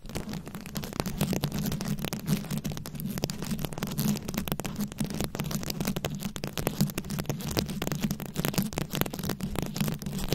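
A fist-sized microphone head fully covered in small round rhinestones, likely plastic, is scratched and tapped with very long acrylic nails up close. The result is a dense, continuous run of crisp, fast clicks and scratchy rasps over a steady low hum centered around 170 Hz, with no pauses in the activity.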